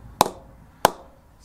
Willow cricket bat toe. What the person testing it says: nice and hard down there